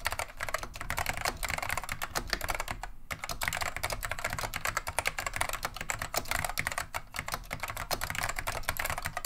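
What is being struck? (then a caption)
Plastic mechanical keyboard. Continuous fingertip typing with both hands on a beige plastic vintage Wang 725 mechanical keyboard fitted with Alps SKCM lime switches. It produces a dense, steady stream of sharp, short clacks with a bright, clattery edge. A low rumble sits underneath, and there is a brief pause about three seconds in.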